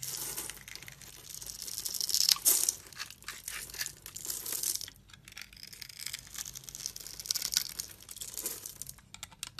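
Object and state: Bar of soap being cut and scraped.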